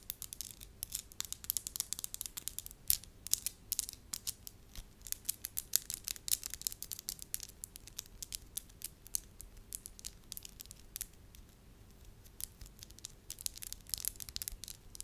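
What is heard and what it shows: Long lavender acrylic nails tap and scratch a small solid lump of soft beige wax held up in both hands. The result is a quiet, steady stream of rapid, dry, bright clicks and scratchy rasps with almost no ring. A faint steady hum sits underneath.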